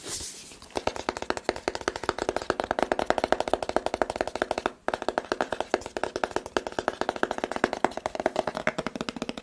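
Fingertips tap rapidly on the sides of a rigid, hollow white cardboard smartphone box, making a steady stream of short, dry, hollow knocks with a mid-pitched tone around 730 Hz. A brief soft hiss opens the clip, and the tapping pauses for a moment near the middle before resuming at the same quick pace.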